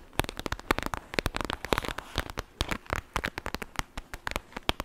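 A clear plastic gel bead bag, a pouch filled with beads, is squeezed and crackled with long nails. A rapid, uneven run of sharp, dry crackles and clicks follows, each snap short and bright with almost no ring, over a soft rustle between them.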